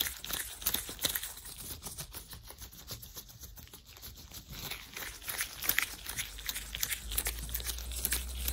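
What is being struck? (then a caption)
Thin latex gloves on hands. Gloved hands in thin white latex gloves clench, rub and crinkle close to the microphone. A dense, bright crinkling and squeaking rub comes in quick irregular bursts, with sharper snaps now and then, over a faint low hum.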